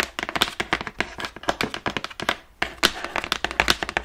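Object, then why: Large printed cardboard box. Long nails and fingertips tap rapidly across the surface of a large, hollow, printed cardboard Ring Fit Adventure box. The dense run of short, dry, bright clicks and thunks dies away almost instantly, with a brief pause midway before the tapping resumes.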